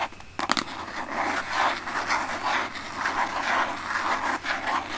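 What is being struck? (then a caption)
Plastic lotion bottle. Long painted nails tap and scratch across the label of a large white plastic Aveeno lotion pump bottle held in both hands. Two sharp taps come near the start, followed by steady, rhythmic scratching with a papery midrange rasp and a bright hiss.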